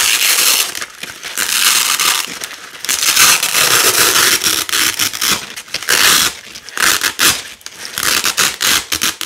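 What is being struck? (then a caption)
Nylon hook-and-loop (velcro) strip. Blue loop and black hook strips of thin nylon hook-and-loop fabric are ripped apart by fingers with long nails. It makes a bright, crunchy tearing rasp in repeated bursts with short choppy pulls between.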